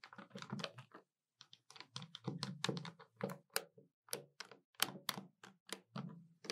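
Long white-polished nails tap the keys of a hollow black plastic Citizen desktop calculator lying flat on a table, using several fingers and resting on the body between taps. The sound is a rapid run of dry, bright plastic clicks with a hollow low thunk under each. It breaks off briefly after the first second, then continues in uneven bursts with almost no ring.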